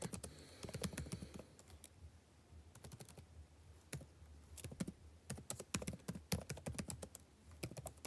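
Fingertips type on a backlit laptop keyboard with plastic chiclet keys, the same keyboard throughout. Quick, soft key taps come in uneven bursts, each a short click with a bright top and a dull low thump that dies away almost at once. Brief near-quiet pauses sit between the flurries.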